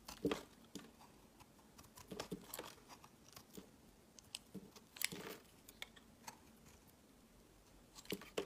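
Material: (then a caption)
Soap. A utility knife blade cuts and scrapes crumbly pieces off a solid, oval, palm-sized bar of marbled white and orange soap held in the fingers. Quiet, dry, crisp crunching and scraping sounds come in short, bright bursts, with a few louder cuts standing out over a soft background.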